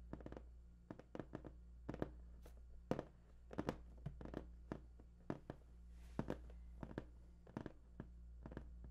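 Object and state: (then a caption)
Cardboard box. Fingertips of both hands tap on the top of a large, hollow, printed cardboard PS4 box. Quick clusters of soft, dull, hollow taps come and go over a steady low hum, with each tap dying away almost at once.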